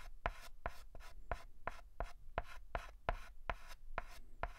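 A white chalk stick held in the fingers writes and scratches on a flat black chalkboard, making 11 short, evenly paced strokes. Each stroke is a brief, dry, gritty scrape with a bright hiss, and the strokes are separated by quiet gaps.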